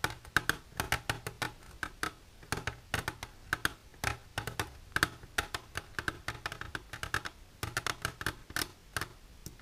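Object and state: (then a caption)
Plastic container tapped with fingernails. Silver-painted fingernails tap quickly and irregularly on a plastic container for ASMR. Each tap is a short, dry, hollow click with a bright edge and a faint tone around 1.5 kHz, and it dies away almost at once. The taps come in uneven rhythmic bursts.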